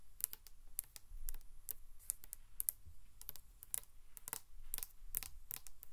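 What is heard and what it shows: Long acrylic nails tap rapidly along the body of a large, hollow, black matte 720°DGREE insulated drink bottle. The result is a quick, uneven run of short, bright, clicky taps that die away almost instantly, over a faint low rumble.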